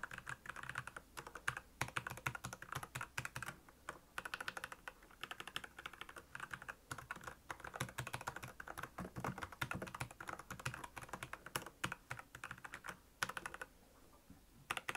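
Fingertips of both hands type quickly on a full-size black plastic Royal Kludge mechanical keyboard with backlit keys and Cherry MX red switches. The result is a dense, steady stream of short, crisp clacks that die away almost instantly, with a brief lull near the end before a few final keystrokes.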